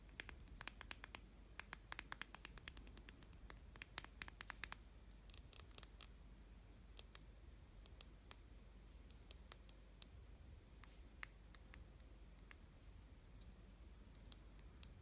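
A small hollow clear plastic tube filled with pink glitter and closed with a plastic cap is held in both hands and tapped and scratched on the cap and tube with long painted fingernails. Quick, bright clicks and scratches cluster densely in the first few seconds, then thin out to scattered sharp ticks over a quiet, steady low hum. Each tap stops almost instantly.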